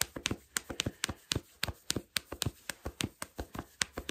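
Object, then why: Cotton fleece sweatpants. Fingertips with short nails scratch and pinch black cotton fleece sweatpants, worn on the body, near the waistband by the drawstring area. About 19 quick, dry scratches and taps are heard in a steady rhythm, each bright and crisp with no ring afterward.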